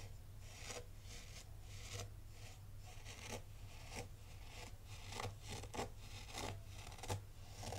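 A black rake rubs and scrapes through loose, fine white sand in a tray, making repeated crisp, bright rasping strokes at an uneven pace. A steady low hum runs underneath the quiet scraping throughout.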